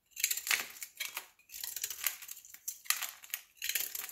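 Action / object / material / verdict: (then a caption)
scrape / solid bar soap shaved by a knife blade / soap / none. A large, solid olive-green soap cube held in the palm has its surface shaved into slivers with a utility knife blade. Quick bursts of bright, crisp scraping and crunching come in several short runs separated by brief pauses, with almost no low end and little ring after each stroke.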